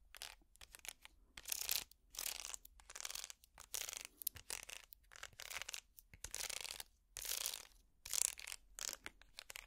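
A small, empty woven wicker basket held upside down is scratched with plastic finger picks. Quiet, dry, bright scratching and crackling comes in short bursts separated by brief silences, with almost no low end.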